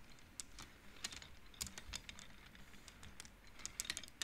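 Fingertips and long nails push painted wooden beads along the metal rods of an upright wooden-frame abacus, so the beads clack together. The result is a quiet, irregular run of short, bright clicks and taps over a soft low background.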